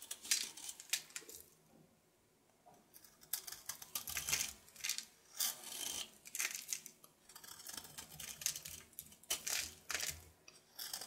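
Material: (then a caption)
Soap. A red patterned knife carves and scrapes a hand-held solid soap bar painted with a red bow design, giving a series of crisp, bright scraping and crackling strokes. The strokes come in short bursts, with a near-silent pause early on, and almost no low end.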